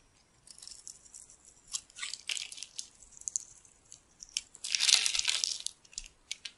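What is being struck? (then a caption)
Bar of soap. A metal blade cuts a crumbly grid into the surface of a solid pink and white striped bar of dry soap held in the hand, breaking it into small cubes. Quick, irregular bursts of dry, crisp scraping and crunching stay almost entirely in the high, bright range, with a longer, louder crumbling stretch near the end.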